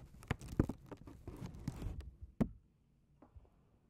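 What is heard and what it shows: A small, folded white paper McDonald's bag is held in both hands and tapped with fingertips and nails. Irregular dull, low taps mix with crinkly papery rustling for about two and a half seconds, ending in one sharp tap. A few faint taps follow in near silence.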